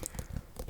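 Several quick taps on the rind of an uncut white (albino) pumpkin with a short little stem, a standard pumpkin with no deformities, give dull, low, hollow knocks that die away almost at once. Their tone is slightly more hollow and deeper than the first pumpkin's, with faint bright clicks on top.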